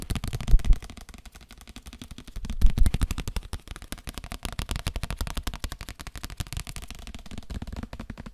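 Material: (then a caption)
Paper. A paper book is tapped rapidly with the fingers, making a dense run of quick, dry, low thumping taps with almost no ring. Louder bursts come early and again near the three-second mark before the tapping settles into a steady, softer patter.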